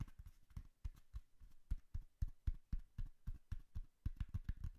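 Fingertips tap the sides of a hollow brown cardboard box held behind the mic. The result is a quick, irregular run of soft, dull, deep thumps, each dying away almost at once.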